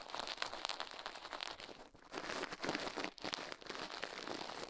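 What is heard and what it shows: Toothbrush bristles scrub the left soft silicone ear of a binaural microphone mounted on a metal mic plate, while the other gloved hand stays still. The result is a fast, dense, bright scratching and crinkling with almost no low end, pausing briefly near 2 seconds and again just after 3 seconds before the brushing resumes.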